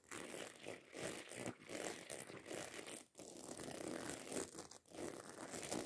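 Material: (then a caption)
Fabric, metal. Long acrylic nails scratch and tap rapidly over the rows of small silver metal studs on a medium-sized, hollow black fabric handbag. The result is a dense, quiet, bright rasping and clicking that runs almost continuously, broken only by brief pauses.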